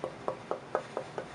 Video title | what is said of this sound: Luthier Wood Review: Alder one of the American workhorse woods tonewood | this is probably the best sounding piece out of the ones that I've just tapped here it's got a great Ring